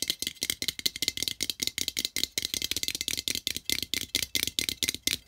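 Fingertips and nails rapidly tap and scratch the metal lid of a small, hollow-looking cylindrical tin with a colorful printed wrap and an exposed metal end. About 26 quick, bright, rattly clicks sound in a steady rhythm, each dying away almost instantly with a high metallic tone.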